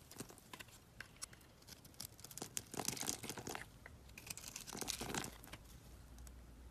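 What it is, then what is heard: Bar soap being scraped. A box-cutter blade slices and scrapes a solid yellow bar of soap into thin strips. The clip is made up of quiet, dry, crackling scrapes and crisp tearing bursts with a bright, hissy edge, louder in the middle and again near the five-second mark.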